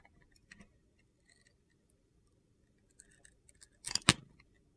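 A utility knife blade carves and shaves the side of a blue glitter-coated bar of soap. Faint, crisp, high-pitched scrapes and ticks are scattered through the clip, then a louder gritty shaving burst comes near the end before fading to a few light scratches.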